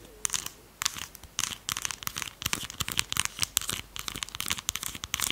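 A small red plastic lip gloss tube that looks full is held in both hands, and long pastel nails tap and scratch along its sides. Quick, bright clicks and crackly scratches come in dense bursts, with almost no low end and no ring after each tap.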